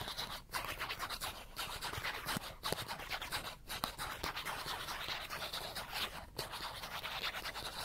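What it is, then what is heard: Cardboard card scratched. The edge of a small, thin cardboard character card held in one hand is scratched rapidly with the fingernails, making a dense, bright, rasping scratch. The scratching runs almost continuously, with a few brief pauses, and has little low end.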